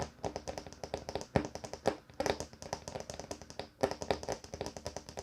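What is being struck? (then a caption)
Wooden table top. Fingers tap rapidly on a wooden table top, producing a steady stream of short, dry knocks with a woody midrange tone and quick decay. A few taps land harder than the rest, standing out as sharper, fuller knocks amid the quieter patter.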